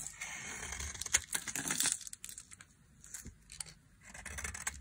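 A solid rectangular bar of dry white soap, held in the hand, is shaved with a flat metal blade, and curls of soap pile up on the table. The sound is a series of dry, bright scraping and crinkling strokes with quick crisp clicks, and it fades into quieter rasping between passes.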